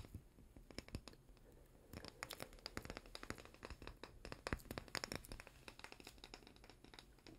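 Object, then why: Small glass jar with plastic lid. A small, apparently full glass chocolate-spread jar with a white plastic lid and paper label, held in both hands, is scratched and tapped with fingernails. Many quick, crisp clicks and short scratches run throughout, bright and dry with almost no ring.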